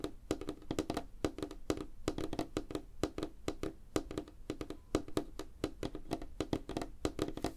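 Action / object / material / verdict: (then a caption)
tap / wooden tabletop / wood / none. Fingertips and nails of both hands tap fast on a flat, solid, light wooden tabletop. The result is a rapid, uneven patter of short, dry knocks with a woody tone around 312 Hz and brief clicky nail ticks. Each tap dies away almost instantly.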